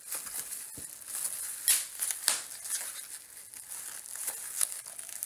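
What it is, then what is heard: Plastic bubble wrap. A large clear plastic bubble wrap sheet with small air-filled bubbles lies on a speckled stone surface while two bare hands pinch and squeeze the bubbles with their fingertips and crinkle the sheet. Bright, crisp crinkling runs throughout, broken by sharp pops of bursting bubbles, the loudest near the middle of the clip.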